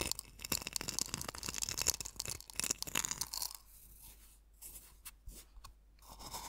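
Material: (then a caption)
Salt. Fingertips and nails pinch and rub coarse sea salt crystals in a small wooden bowl partly filled with salt. Dense, bright, gritty crunching fills the first three and a half seconds. It then gives way to quieter, sparser rubbing with a few sharp ticks.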